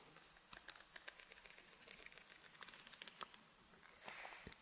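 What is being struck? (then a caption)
Plastic comb. A large white wide-toothed comb, held in both hands, is strummed and scratched along its long teeth. It makes a quiet run of short, bright plastic ticks and clicks, with a soft scratchy rasp near the end.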